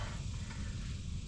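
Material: Nothing is struck.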